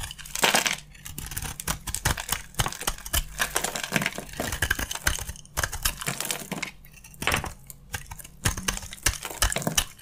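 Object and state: Dry soap bar being carved.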